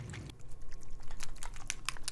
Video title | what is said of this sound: Alcohol Ink Card Stock - Brushed Silver, Silver Sparkle and Matte Black | until you hear a little metal rattling